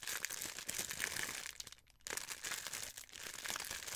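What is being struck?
Thin clear plastic wrapper.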